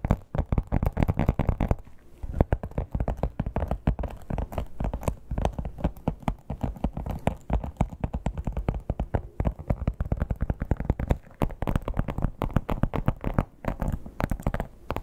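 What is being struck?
Croc-embossed leather clutch.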